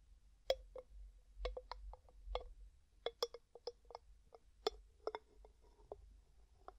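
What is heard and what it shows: Fingertips and nails tap and twist the gold metal screw lid on a medium, hollow, mostly empty clear glass jar. The result is a quiet series of short, dry clicks and taps with a hollow tone around 530 Hz and bright edges. Each one dies away almost at once over a faint low hum.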